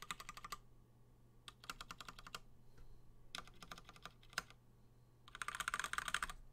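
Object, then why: Mechanical keyboard with plastic keycaps. A Gingham 60% plateless mechanical keyboard with Gateron Black switches and cream and blue PBT plastic keycaps is tapped by one finger pressing individual keys one at a time across the board. Quick bursts of short, crisp clacks come in uneven runs separated by brief pauses, with a steady low hum underneath throughout.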